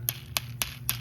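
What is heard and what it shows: A dried okra seed pod is thumped four times, each thump giving a short, dry, bright rattle of loose seeds inside over a steady low hum. The rattling seeds show the pod is dry and ready for seed saving.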